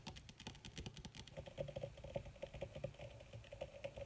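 Long red nails fast-tap with their tips on a crumpled black leather sheet, possibly faux, making a quiet, dry patter of short clicks with almost no ring. After the first second and a half, a faint steady tone near 560 Hz runs under the taps.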